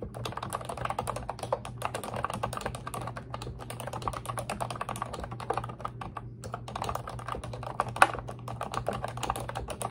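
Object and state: Plastic computer keyboard.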